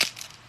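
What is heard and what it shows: A homemade corn tostada, the first one made from a corn tortilla fried in oil, gives a short, sharp, bright crunch with a few quick crackles trailing off. The crisp snaps sit almost entirely in the high frequencies, with no low thud, and fade within a fraction of a second. The tostada is crispy and flat.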